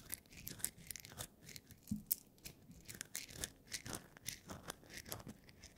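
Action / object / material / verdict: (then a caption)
scrape / whole roasted coffee beans in a wooden bowl / coffee beans / none. Fingertips stir and rub whole roasted coffee beans, small, hard and dry, in a wooden bowl. A steady, bright rustling crunch of beans shifting against each other and the wood, broken by quick sharp clicks and soft swells as the handful moves.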